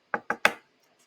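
A hard calcium carbonate nautilus shell is knocked three times on a desk. Each knock is a short, hollow clack with a quick decay, and the third is the loudest. The shell sounds hard and solid.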